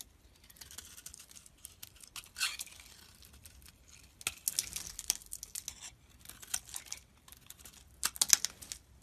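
A hand-held solid white bar of soap is carved and scraped with a snap-off utility-knife blade, sending curling shavings off the bar. The sound is quiet, dry and bright: crisp, crackly scraping strokes and soft tearing crinkles. Short sharp bursts come near 2.5, 4.3, 5 and 8.3 seconds, with almost no low end.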